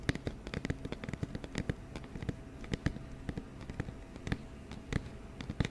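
An empty, hollow, medium-sized round white cardboard flower box is held near the microphone and tapped on its side with fingertips and nails. A quick, uneven stream of short, dull, bass-heavy taps and ticks follows, each dying away almost instantly with no ring.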